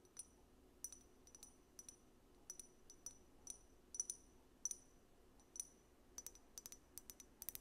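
A small amber glass bottle with a paper label is held in both hands close to the microphone and tapped and scratched with long nails. Quiet, irregular, bright glassy clicks and clinks come in scattered clusters, each dying away almost instantly over a soft low hiss.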